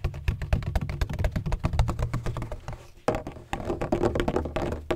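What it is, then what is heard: Textured plastic ring-shaped bottle. Fingertips tap rapidly on a large, black, hollow, ring-shaped plastic bottle with a textured surface and a red cap. The taps make a steady stream of short, dry, low hollow thunks with almost no ring. There is a brief lull just before the three-second mark, then the tapping resumes.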